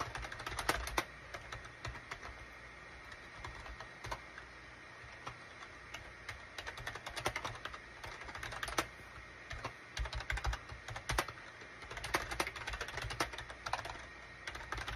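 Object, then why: Plastic computer keyboard. Fingertips type on a full-size gray and cream SHIPADOO K600 wired USB keyboard with a hollow plastic case, resting on a desk mat. Quick, uneven clusters of hollow, clacky keystrokes continue throughout, with short bright clicks over a faint low thump and little ringing after each press.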